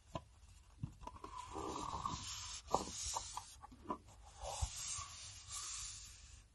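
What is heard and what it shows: Fingertips and nails tap and scratch a hand-sized, hollow black enamelled Sennelier metal watercolour paint box with its lid closed, both as it rests on the table and while it is held. Light, hollow metallic ticks with a short ring around 770 Hz stand out against soft rubbing and scraping.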